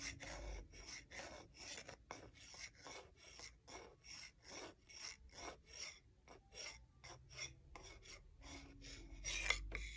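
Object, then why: Wooden salad spoon and fork. A solid wooden salad spoon and a wooden salad fork are rubbed together at their bowls, producing quick, dry, rasping scrapes. The strokes come in short, irregular bursts of bright, hissy friction with little low end, and the level stays quiet throughout, with one slightly louder scrape near the end.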